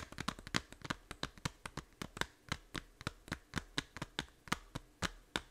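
A small hollow plastic 3DS game case held in both hands has its back cover tapped and scratched with long nails. About two dozen short, dry, clicky taps follow one another quickly, each with a bright attack and almost no ring, over a faint rustle between them.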